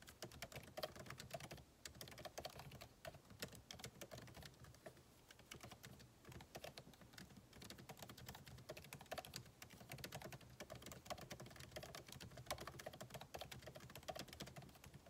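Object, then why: Laptop keyboard with plastic keycaps. Fingertips of both hands type rapidly on a backlit MacBook Pro keyboard with plastic keycaps in a solid aluminum body resting on a desk. It produces a steady stream of quick, short clicky key taps with brief pauses, with soft low thumps under bright clicks.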